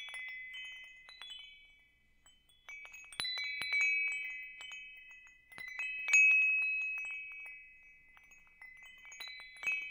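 A small hanging wind chime with hollow metal tubes, a wooden top disc and a wooden striker is held up by its hook in one hand while the other hand's fingers strike and push the tubes so they ring against each other. Repeated bright, clear chiming tones centred near 2.6 kHz ring out and slowly fade between strikes, with no low-end content.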